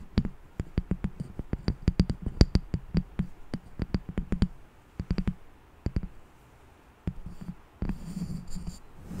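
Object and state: Wooden candle lid.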